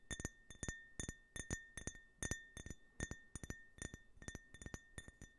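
Fingertips and short nails tap a small, empty, hollow drinking glass with a red-white-blue stars-and-stripes US flag print, held in one hand. Quick, light clinks come mostly in pairs and short bursts at an irregular pace, each with a brief clear ring near 1.8 kHz and bright high overtones. The ring fades almost at once between taps.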